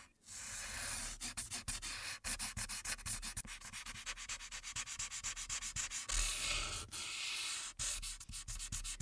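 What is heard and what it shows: A light-blue marker tip rubs back and forth across the top area of a printed paper coloring sheet lying flat. The result is a steady, bright, scratchy rubbing hiss that swells and dips with each quick stroke, at roughly four strokes per second.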